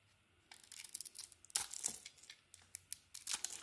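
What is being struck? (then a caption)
Soap bar scraped with a metal blade. A solid, glossy blue bar of soap with a green core, held in hand, is scraped and carved with a metal blade. After a brief quiet start, a rapid series of crisp, bright scraping and shaving strokes follows, with almost no low end and each stroke dying away quickly.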